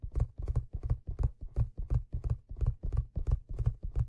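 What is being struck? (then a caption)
Leather fedora hat crown. Fingertips tap the hollow, stitched crown of a black leather fedora, then rub it. Soft, dull, low thumps come in quick clusters at a steady, rolling pace, with each tap dying away almost at once.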